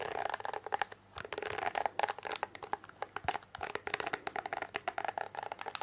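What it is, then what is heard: Plastic hairbrush. Long painted fingernails scratch and flick through the plastic bristles of a pink plastic hairbrush held in the hand. The result is a rapid, uneven stream of dry plastic clicks and scratchy ticks with a faint tonal ring around 800 Hz and bright edges. There is a brief pause near the one-second mark before the flicking continues.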